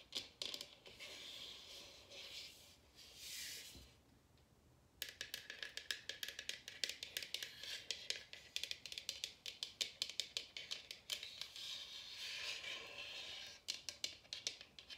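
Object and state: Bamboo wooden bowl.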